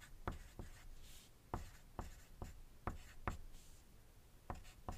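A wooden graphite pencil writes on a thin white paper sheet lying on a desk, while nearby dice stay still. Quiet, dry scratching strokes come with short, sharp taps spread through the clip, mostly low and thudding with a faint bright hiss between them.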